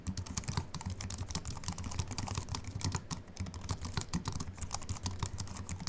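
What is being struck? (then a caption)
Slim computer keyboard with aluminium body and plastic keys. Fast fingertip typing with both hands on a slim Apple Mac keyboard with an aluminium body and white plastic keys. It makes a steady, dense stream of short, soft clicks and taps with a low thumping body and bright, crisp edges. Each keystroke dies away almost instantly.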